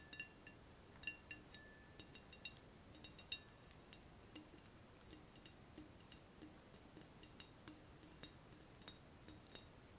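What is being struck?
Glass two-neck round-bottom flask.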